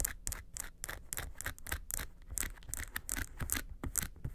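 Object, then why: Small faux-leather case. Long nails scratch the front face of a small, hollow, yellow textured faux-leather makeup suitcase near the handle. The result is a rapid series of short, dry scraping strokes with bright, high hiss and a soft, low hollow thump beneath each one.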